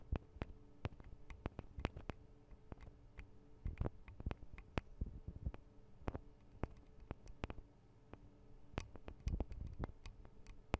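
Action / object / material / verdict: tap / metal microphone capsules with guard wings / metal / none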